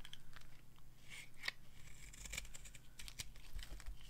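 A solid white, hand-sized bar of dry soap is held in the palm and scraped with a metal knife into long flakes. Quiet, dry scraping and crisp crackling strokes repeat throughout, each with a bright, papery edge over a low background rumble.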